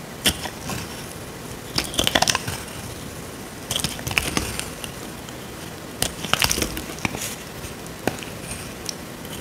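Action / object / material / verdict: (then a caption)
scrape / bar of soap scraped with a small blade / soap / none. A small metal blade scrapes curls off a dry, solid rectangular tan soap bar held in the hand. Bursts of bright, crisp crackling and crunching scrapes come in irregular clusters between quiet pauses, with short, dry attacks and no ring.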